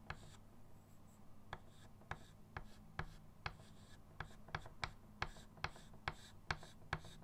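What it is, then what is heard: Chalk rubbed on a chalkboard. A short pastel chalk stick is rubbed across a small chalkboard with a dark painted board and wooden frame, lying flat on a table, while fingertips blend a bird drawing. About 14 quick, irregular scratching strokes stand out, each with a dry bright edge, over a steady low hum and soft rubbing in between.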